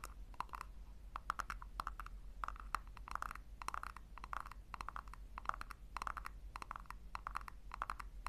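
Long nails tap rapidly on a small, hollow pink plastic tub held in the hands. The sound is a stream of quick, dry clicks with a hollow ring around 1.3 kHz, coming in bursts over a steady low hum.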